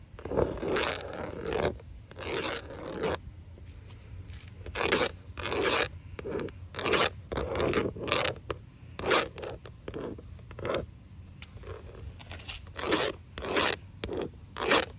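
Long acrylic nails tap and scratch the faces of grey wood-grain vinyl siding on an exterior wall, which is hollow-backed. Bright, dry scraping strokes alternate with short clicky taps in uneven bursts. Each stroke stops almost instantly, with no ring.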